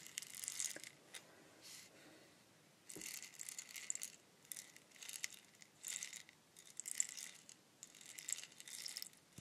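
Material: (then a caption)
Wood. A long hollow bamboo-like wooden rainstick with a weathered, bark-like surface and loose beads inside is held horizontally in both hands and tilted, with fingertips and long nails resting on and rubbing the outside. The beads give a soft, bright cascading rattle in repeated bursts separated by quiet pauses, with almost no low end.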